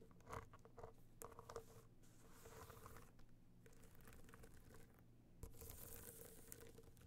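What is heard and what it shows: The tips of long nails tap and scratch a small, rigid, hollow box clutch covered in gold metallic material with raised dots as it lies on fur. The result is quiet, rapid, crinkly tapping with short bright scratchy bursts over a faint, steady low hum.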